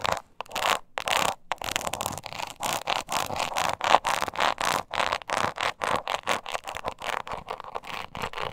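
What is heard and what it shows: Long nails quickly scratch the flat face of a small, hollow croc-embossed leather mini purse. The result is a rapid series of short, dry scraping strokes with a mid-range rasp, bright hiss, almost no low end, and no ringing between strokes.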